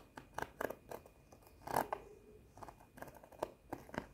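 Long nails tap and scratch a held-up flat cardboard sheet of plastic rhinestone face stickers, making about fourteen short, dry clicking taps with very little low end. A louder scraping burst comes in the middle, then the taps quicken and scatter toward the end.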